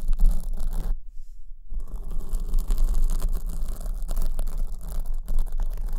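Long acrylic nails scratch the black foam windscreen on the right microphone while the other hand cups its top. The result is a continuous, dense scratchy rustle with a heavy low rumble. The sound briefly drops out near the one-second mark, then resumes steadily.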